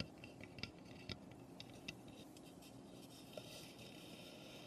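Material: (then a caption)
Pine wood. Long painted nails tap and scrape across the roof panels and front of a small, hollow, unfinished light pine birdhouse. A few sharp, dry clicks with very short ring stand out over a soft, steady scratching with bright texture. The sound stays quiet and close throughout.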